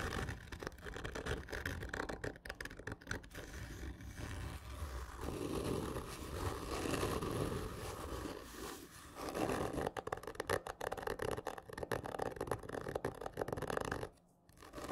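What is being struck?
Hollow cardboard gift tube.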